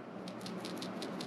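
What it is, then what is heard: Soft plastic lure with a glass bead rattle inside. A 3 mm glass rattle bead, pressed horizontally into a Megabass Dark Sleeper soft plastic swimbait until it disappears, is shaken inside the lure. It gives a series of faint, quick clicks over a steady low background.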